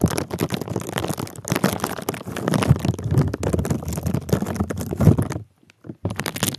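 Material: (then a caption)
Plastic. A small sleeve of clear plastic bubble wrap, wrapped over the microphone and held in one hand, is squeezed and crinkled with the fingers. It makes dense, close, muffled crackling and rustling, heavy in the low end, that runs almost continuously. The sound drops out briefly near the end before resuming.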